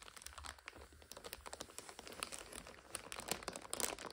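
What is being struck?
Instant noodle multipack in plastic overwrap.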